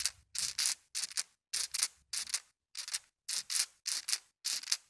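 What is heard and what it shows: A dozen or so small, solid, colored glass marbles in a white plastic mesh net are swung and shaken by a hand above, so they bump onto a soft carpet and knock against each other. The result is a series of quick, bright, rattling clicks in short clustered bursts, with almost no low end and very little ring, separated by brief silences.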